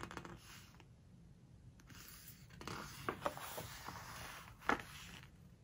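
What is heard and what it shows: Fingertips and long nails rub, squeeze and turn the glossy paper pages of a large hardcover home decoration book lying open on a floral cloth. Soft, airy rustling and scraping of paper are broken by a few sharp, crisp crackles as pages are squeezed and flipped, the loudest near the end. The sound is quiet and close, with bright papery texture and little low end.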